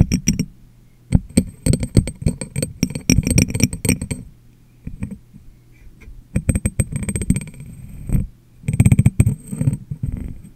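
Fingertips and long nails tap on the top and rim of a medium, clear, hollow, empty glass jar set upside down over a microphone. Rapid bursts of taps come in clusters separated by quiet pauses. Each tap gives a deep, boomy thump with a crisp click on top and dies away almost at once.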